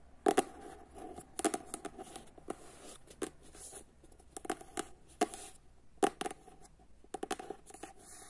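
Long nails tap and scratch across the front cover of a paperback book, then the back cover. Short, sharp clicky taps land in quick clusters with almost no ring, separated by soft scratchy rustling in a quiet space.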